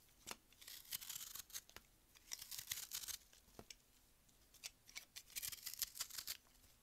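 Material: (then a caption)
Melamine foam. A metal utility-knife blade carves and scrapes a solid block of frozen white melamine foam magic eraser held in one hand, dropping crumbs onto a white table. Dry, crunchy scraping comes in short bright bursts and clusters, with almost no low end and quiet pauses between strokes.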